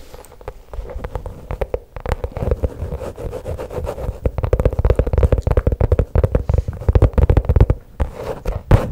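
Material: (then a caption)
Faux leather. Long pink nails tap and scratch along the top of a flat black faux leather pouch held horizontally behind a microphone. The result is a dense, irregular stream of soft, dull taps and scratchy rubbing that stays low and muffled, with each tap dying away almost at once.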